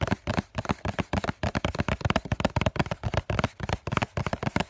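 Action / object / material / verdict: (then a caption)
tap / cardboard tissue box / cardboard / none. Multiple fingertips tap quickly on the printed front face of a hollow cardboard COCON tissue box held up by both hands. The result is a rapid, uneven patter of short, dull, hollow knocks, heavy in the low end with very little ring after each tap.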